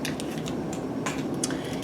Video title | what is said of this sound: IV Start with Instructions | when you shake it you can hear there's a little capsule in there